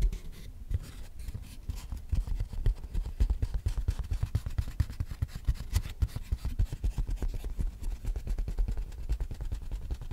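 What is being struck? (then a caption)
Small flat piece of cardboard. A small, flat piece of brown cardboard held close to the microphone is rubbed and scratched with long nails and fingertips. The result is a steady run of rapid, dry scratches and soft, muffled thumps with a deep, boomy low end. Each stroke dies away almost immediately.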